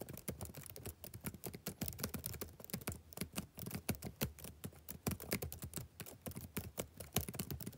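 Fingertips type steadily on the black plastic keys of a backlit laptop keyboard. Short, quiet taps follow in a rapid, uneven stream, each with a soft low thud and a bright, dry click that dies away almost at once.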